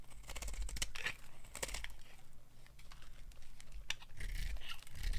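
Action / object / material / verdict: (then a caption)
scrape / bar of soap scraped with a small knife / soap / none. A hand-sized, solid, dry white bar of soap, held in fingers with long gold-painted nails over a bed of colored soap shavings, is carved and scraped with a small metal knife. The strokes make crisp, dry scraping and crackly shaving sounds with bright, sharp cuts. Slices shave off the bar.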